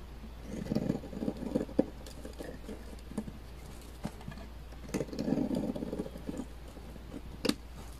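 A utility knife blade shaves thin slices from a dry, beige bar of laundry soap that has been cut down to a thin slab. Two soft, crumbly scraping bursts are heard, interspersed with sharp clicks as the blade catches and breaks through, all over a steady low hum.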